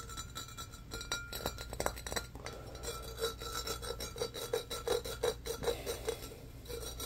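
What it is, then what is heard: Empty embossed glass pitcher scratched. Fingernails scratch quickly up and down the ribbed sides of a medium-sized, empty, hollow embossed glass pitcher held in the air. Uneven, rapid raspy strokes each bring out a faint glassy ring in the mid range over a steady low hum. The scratching stays fairly quiet and grows a little more pronounced toward the end.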